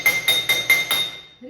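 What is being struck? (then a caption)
Small metal bowl and spoon. A small metal bowl is struck five times in quick succession with a spoon. Each strike gives a bright, high metallic clink with a clear ringing tone around 2 kHz that carries between hits and fades away after the last one. A faint voice follows at the end.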